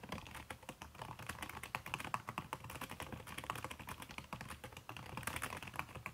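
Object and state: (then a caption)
Laptop keyboard with silicone cover, fast typing. Fast typing with fingertips and long red-painted nails on a backlit aluminium laptop keyboard whose plastic keys are covered by a red silicone skin. Dense, rapid muffled clicks and taps with short, dry decay run steadily throughout, with brighter tapping accents mixed in.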